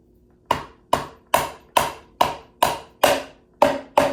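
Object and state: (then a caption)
Aluminium timing cover, loosened from engine. Nine taps on the aluminum timing cover of a used Audi 4.2 engine, struck to free it. Each tap is a short, hollow knock with a brief ring near 580 Hz and about 1 kHz. The hollow sound indicates the cover has come loose from the engine, as hoped.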